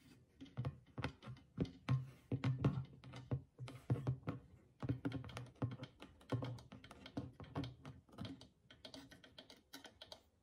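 A small hollow clay drum with a stretched goatskin head, held in one hand, is tapped and drummed on the skin with the fingertips and long nails of the other hand. Quick, uneven runs of soft taps and clicks with short, dry attacks sit over a low, hollow thump near 140 Hz. The sound is quiet, closely heard and dies away almost instantly after each tap.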